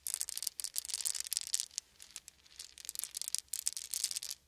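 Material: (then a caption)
Wood. Small solid wooden beads are shaken and poured between open cupped hands, making dense, bright clicking and rattling. The sound comes in bursts with almost no low end, quieting in the middle before picking back up.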